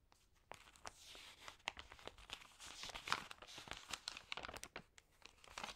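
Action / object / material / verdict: scrape / glossy paper magazine pages / coated paper / none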